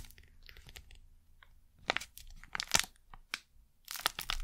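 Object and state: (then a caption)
Plastic wrapper crinkled. A thin, flexible printed plastic packet from inside a box is crinkled and scrunched between fingers and long nails. It makes bright, crisp crackling bursts separated by quiet pauses, with the sharpest snaps toward the middle and a dense final flurry of rustling.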